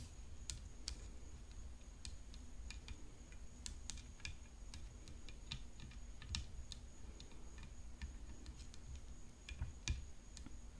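Long fingernails tap on the hollow frame of a graphite composite tennis racket decorated with rhinestones. They make quiet, irregular, sharp clicks with a bright edge that stop almost at once. A low steady hum and a faint high whine run underneath throughout.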